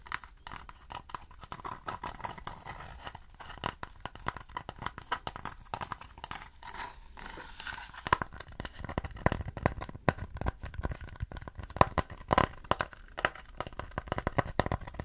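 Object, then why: Thin wooden plate. A thin, round, shallow mid-brown wooden plate or tray is held upright in both hands while fingertips and nails scratch and tap its flat back. The result is a dense, dry stream of crackly scratching broken by sharp, quick taps throughout, with a faint woody tone near 1 kHz.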